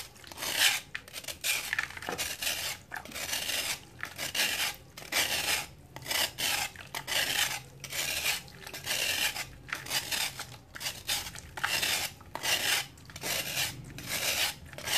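A hand-sized, flat, solid chunk of dried sand and cement is held over a tub of water and shaved with a metal knife blade, and powder falls off. The blade makes bright, dry scratching and rasping strokes, repeating roughly once a second at an uneven pace, with short pauses between them.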